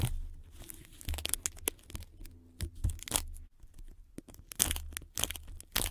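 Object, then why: Adhesive tape wrapped around a microphone. Long red nails and fingertips tap, scratch and press on white sticky tape wrapped around a microphone body, making the tape stick and unstick. Sharp, bright tearing and crackling bursts come one after another over a low thumping rumble, with close, dry handling noise between them.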